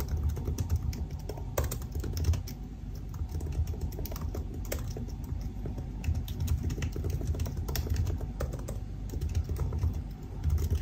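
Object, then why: Plastic laptop keys in an aluminium body. Fast fingertip typing on the black plastic keycaps of a silver aluminum laptop resting on a desk, with both hands producing a dense stream of short key taps. The clicks are dull and low-heavy with brief bright ticks and almost no ring, over a steady low hum.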